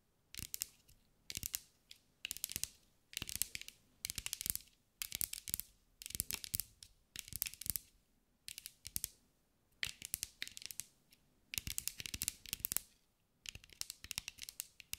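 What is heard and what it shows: A green mirrored glass mosaic sphere, held in the hands, is tapped and scratched with long acrylic nails. The result is bursts of bright, crisp clicking and scraping that come in short clusters separated by brief silences.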